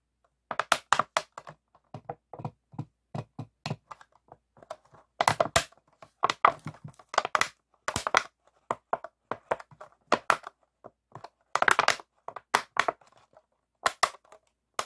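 An empty, clear, ribbed PET plastic water bottle, hollow, is squeezed and crinkled with both hands. It gives sharp, dry crackles and crunches in irregular clusters, with brief bright snaps and no ringing after each.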